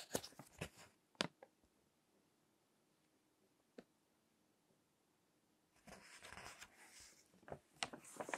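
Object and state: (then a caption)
Paper magazine pages. Fingertips turn and rub the pages of a crinkled paper magazine with text pages lying on a table. Sharp, bright paper crackles cluster at the start, followed by a long quiet stretch broken by a single soft tick. A denser, rustling crinkle returns toward the end, with a few louder snaps.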